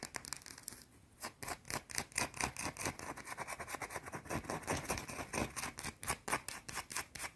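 A small, solid, round white soap bar is scratched with long blue-painted nails. The result is a rapid run of bright, dry scratching strokes with short gaps between them, mostly high-frequency hiss with little low end. The strokes fall fast but unevenly, with a brief quieter pause near the one-second mark.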